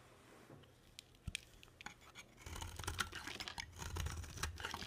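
A solid, dry, palm-sized white bar of soap is held and then carved with a box cutter blade. Faint scratching and a few sharp clicks come first, then at about the halfway point the blade bites in with denser, crisp scraping and shaving sounds over a low rumble.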